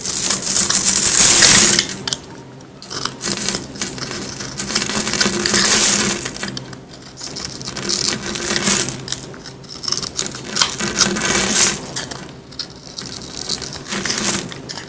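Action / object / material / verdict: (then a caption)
scrape / bar of soap scraped with a metal carving tool / soap / none. A small metal carving tool scrapes a solid, palm-sized rectangular bar of dry green soap held in one hand, and the shavings fall onto a white surface. The scraping comes in repeated bright, crackly bursts with brief quieter gaps between strokes, over a faint low steady tone.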